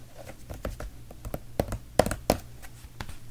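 A large, blue, hollow plastic Bissell carpet-cleaner bottle that appears full is held in one hand and tapped and scratched with the fingertips of the other. Nine short, dull, hollow taps land at an irregular pace, each with a muted midrange tone near 620 Hz that dies away almost instantly. Soft fingertip scratching fills the gaps over a faint low hum.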